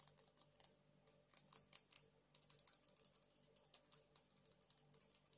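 Long acrylic nails tap and scratch a palm-sized, solid blue agate stone with a rough, faceted surface as it is held up. A quick, uneven run of light, bright clicks dies away almost instantly, with soft scratchy strokes between them. A faint steady low hum sits under the quiet taps.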